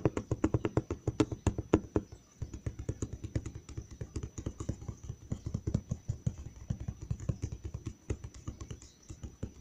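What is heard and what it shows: Fingertips tap quickly on the flat side of a large, hollow brown cardboard box near its edge. The result is a steady run of short, dull, low thuds with almost no ring. The first two seconds are louder, then there is a brief pause and the tapping continues a little softer.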